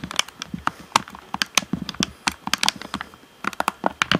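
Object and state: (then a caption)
Hollow plastic game controller. Fingertips tap rapidly on the buttons and hollow shell of a black plastic Xbox One controller. The result is a quick, uneven series of short, dry, clicky taps with bright edges and almost no ring.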